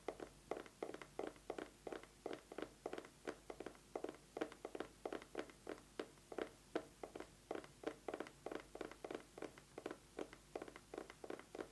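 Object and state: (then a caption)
Eyeglasses case. An eyeglasses case is tapped quickly with fingernails in a steady, fast rhythm of short, dry taps. The taps are quiet, hollow and midrange, with little low end and a very quick decay between strikes.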